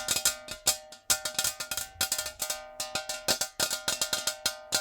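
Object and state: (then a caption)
Metal jar. A metal jar is tapped quickly but not aggressively with natural fingernails. The result is a rapid, uneven run of crisp clicks with a bright, high metallic ring and faint sustained mid tones beneath. Each tap decays quickly into the next.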